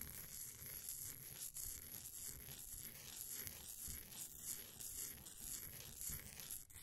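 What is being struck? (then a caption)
Compressed powder bath bomb. A flat wooden popsicle stick's edge scrapes across the surface of a solid, green, ball-sized bath bomb of compressed powder held in a blue plastic ring holder. The scraping makes a steady, gritty, bright rasp with soft low rumbling underneath and repeated small scratchy strokes throughout.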